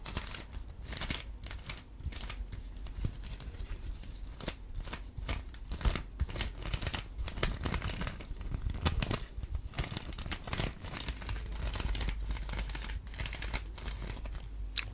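A small stickerless plastic Rubik's cube with a hollow mechanism is held up close, tapped with long black nails and twisted by hand. Its clicking parts give a dense run of quick, dry plastic clicks, taps and scratchy crinkling with bright high edges. A steady low rumble runs underneath throughout.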